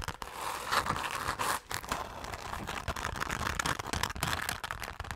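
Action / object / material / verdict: scrape / glitter-coated fabric zipper pouch / coated fabric / none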